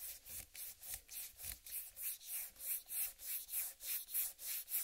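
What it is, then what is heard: Whole watermelon. A large, whole, uncut watermelon with a green striped rind is rubbed with palms and fingers and slowly scratched with long nails. A steady run of soft, bright, rasping strokes swells and fades in a quick, fairly even rhythm, with almost no low end.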